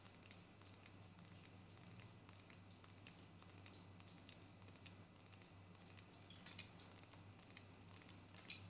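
A pink-striped rectangular perfume bottle, likely glass, held in both hands, is tapped with long nails in a quick, uneven series. Each tap is a short, bright click with a faint high ring that dies away almost at once, over a soft low hum.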